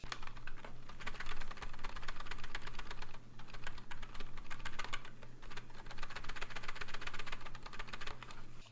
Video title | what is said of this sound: Geek GK61 Review - New Best Budget 60% Keyboard?!?! | if you shake the keyboard you can hear the keys kind of rattling